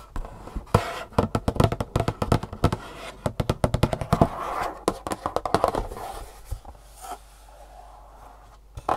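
Long fingernails tap and scratch the flat faces and edges of a long, thin, hollow, printed green-and-black cardboard shoe insole box held in the hands. Quick runs of dry, hollow taps with a low knocking body fill the first six seconds, mixed with papery scratching. The sound then thins to softer scraping and a few final taps.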